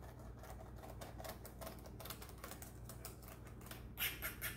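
A small brush held in a gloved hand is swept along the rows of keys on a black plastic laptop keyboard, making soft, irregular brushing and clicking scrapes over a steady low hum. Near the end, a few louder, brighter bursts stand out.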